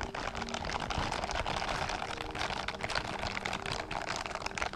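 A pair of blue silicone/rubber dishwashing gloves with scrubber bristles, worn on both hands, has the gloved palms pressed and rubbed together beside a microphone without touching it. The result is a steady, dense rubbing and crinkling texture of quick scratchy bristle scrapes, broad and bright, with a low rumble underneath and no pauses.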